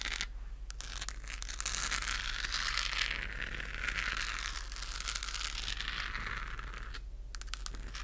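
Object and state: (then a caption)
Plastic globe lamp. Long acrylic nails scratch and tap across a hollow, pink-lit, textured plastic galaxy moon lamp. A dense, steady, bright scratching rasp, with sharp little clicks mixed in, runs nearly the whole clip. It thins briefly near the start and again toward the end.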